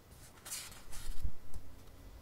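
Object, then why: Paperback book paper pages. Fingertips slowly rub and scratch across the printed paper page of an open paperback book lying flat. Soft, bright papery swishes are heard, with two dull low bumps in the quiet scraping.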